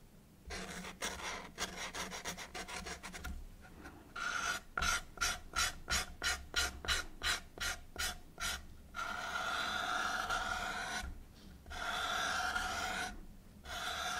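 A pink marker tip is rubbed and scratched along a long, hollow brown cardboard tube held steady by one hand, drawing lines. Dry, raspy strokes come first in a quick scratchy flurry, then as a run of short, evenly spaced scrapes. These give way to longer sustained rubs carrying a hollow, ringing tone from the tube.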